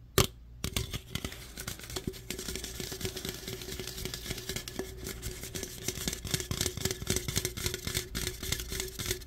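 Fingernails scratch and tap the body and rim of an opened aluminum root beer can. After a sharp click near the start, a dense run of quick, bright ticks and scrapes follows over a faint steady tone.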